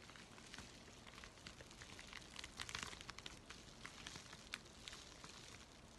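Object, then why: Thin paper mailing envelope. A thin, flat, apparently empty white USPS flat rate envelope with a red stripe is held in both hands while fingers and nails crinkle and scratch its paper surface. The sound is a quiet, steady run of soft, bright crinkles, rustles and scratches, with many small crisp ticks that fade almost instantly.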